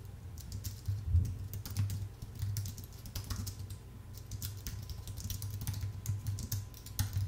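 Fingertips type steadily on a full-size white Apple Magic Keyboard with an aluminium base and plastic keys. Quick, bright, soft key clicks with very short decay patter in an uneven rhythm over a steady low hum.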